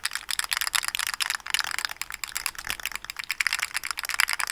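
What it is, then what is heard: Plastic articulated slug fidget toy. A small rainbow plastic articulated slug fidget toy with hollow segments is held up and flexed and twisted with the fingers. Its segments give a fast, dense run of light, bright clicks and rattles against each other, with nothing low in the sound.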